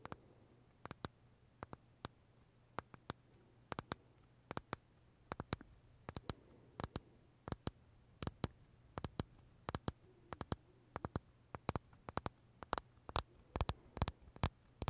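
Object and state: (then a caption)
Macaron tapped with fingernails. Short fingernails tap and scratch the crisp shell of a large purple blueberry macaron held in both hands. Quiet, dry clicks come in irregular bursts with no ring, over a faint low hum.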